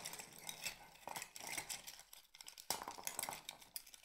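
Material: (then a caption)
Shell. A cluster of small, empty mussel shells is held in both hands above a pile while fingertips and nails rub and squeeze them. The shells give a quiet, steady run of bright clinks and dry scrapes with very little low end. Each click dies away almost at once.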